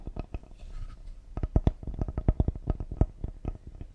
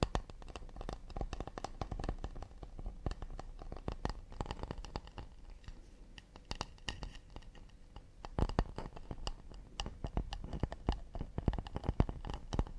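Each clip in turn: First: cedar wood serving board. Second: acacia wood plate.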